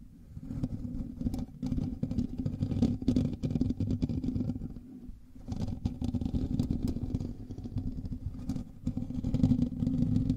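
Fingernails of both hands scratch the hollow metal mesh grille of a black microphone, producing a dense, continuous rasping scrape that is heavy in the low and low-mid range. The scratching runs almost without pause, briefly easing around the five-second mark before picking back up.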